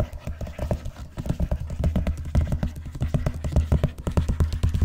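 Long nails tap and scratch across the cover of a large, closed, blue vinyl-covered binder lying flat on a box. The result is a quick, irregular run of dull, low thuds that die away almost at once, with a faint scratchy texture between them.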